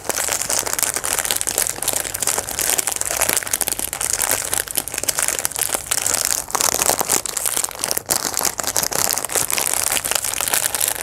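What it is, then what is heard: Metallic foil wrapper crinkled. A thin, shiny, hand-sized chocolate bar wrapper of metallic foil or metallized plastic, with a brown and silver pattern, is held and squeezed in both hands, then crinkled and rubbed with the fingertips. The result is a steady, dense crinkling and crackling that is bright and hissy, with almost no low end, running unbroken through the clip.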